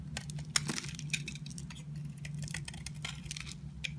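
A utility knife shaves and peels the pink outer layer off a solid oval pink patterned bar of soap held in the hand. Quick, crisp, bright scraping and crackling strokes sound over a steady low hum, with a few sharper clicks standing out.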